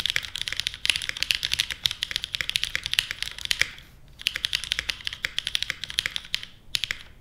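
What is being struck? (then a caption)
Mechanical keyboard with plastic keycaps. Fingertips type steadily on a small 60% Portal mechanical keyboard with a white case, plastic keycaps and Kailh Stem MX Black switches. The result is a rapid run of short, bright, dry clacks with almost no low end. The typing pauses briefly twice.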